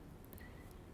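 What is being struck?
Nothing is struck.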